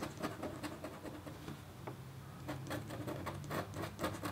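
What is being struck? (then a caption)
Black-coated copper foil scratch art board scratched with a metal stylus. A red-handled, metal-tipped stylus scratches across a flat, black-coated copper foil scratch art board. Quiet, dry scratching comes in a quick series of short, bright strokes over a faint steady low hum, each stroke dying away almost at once.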